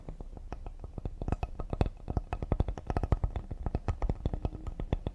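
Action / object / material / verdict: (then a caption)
tap / cedar wood serving board / cedar wood / none. Fingertips of one hand tap quickly and lightly near the edge of a solid cedar serving board with a knot in the grain. The rapid, uneven taps sound dull and low, each with a faint brighter click and almost no ring.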